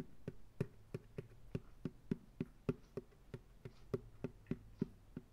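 Fingertips tap on the bottom of an empty white plastic ice cream pail turned upside down on a lap. About 17 short, hollow, dry knocks sound in an uneven rhythm, each fading almost at once, with a low, quiet hum underneath.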